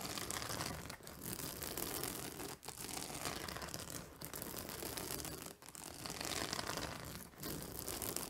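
Long nails tap and scratch the white plastic spike discs on a purple fabric acupressure pillow. The result is a dense, continuous, bright scratching and crinkling texture, broken by brief quiet dips about every one and a half seconds.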